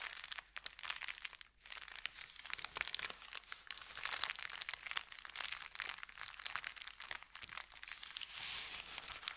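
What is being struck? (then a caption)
Brown kraft paper bag. An empty brown kraft paper pretzel bakery bag lying on a felt mat is folded over and pressed and rubbed flat with fingertips. The result is steady, dense, bright crinkling and crackling with sharp crunchy snaps, with almost no low end and a brief quieter pause near the start.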